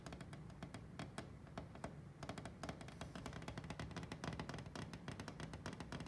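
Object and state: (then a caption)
Glass pane in a wooden cabinet door. Fingertips and nails tap and brush across the flat glass pane of a dark wooden china cabinet door, with floral china plates displayed behind it. The result is a quick, uneven run of light, clicky taps that ring only briefly, over a low, resonant hum.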